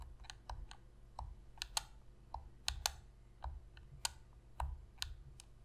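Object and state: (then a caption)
Plastic game controller. Long pink fingernails tap and click the face buttons of a black PlayStation controller made of hollow plastic. About 13 sharp, bright clicks land in an uneven rhythm, each dying away almost instantly, over a faint steady low hum.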